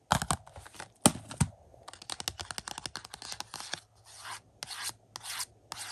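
A fingertip taps and rubs the glossy cardboard slipcover on a 4K UHD Blu-ray case of the movie Bullet Train, lying on carpet. A few sharp, dry taps early on give way to quick, bright scratchy strokes, then longer papery rubbing swipes toward the end. The sound stays close and soft with a faint low hum underneath.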